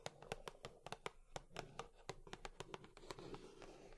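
Long nails tap quickly on a cardboard tissue box, about twenty short, dry clicks with bright nail ticks over a hollow, mid-pitched thump. Each tap dies away almost instantly, with a soft scratchy rustle between the quiet taps.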